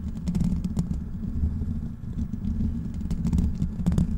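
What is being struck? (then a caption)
Metal mesh microphone grille. Fingertips of both hands scratch the black metal mesh grille of a large, hollow desktop microphone. The result is a dense, continuous low rumble of scraping friction, thick and boomy below 200 Hz, with quick dry ticks and crackles scattered throughout and almost no high-end brightness.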